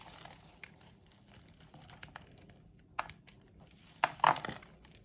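A thin metal blade scores and scrapes grooves into the face of a solid white rectangular bar of dry soap held in pink-gloved hands, lifting curled strips over a wooden tray of shavings. Quiet, dry crinkling scrapes and small crackles run throughout, with a few sharper ticks. Louder, crisp crunching bursts come near the end.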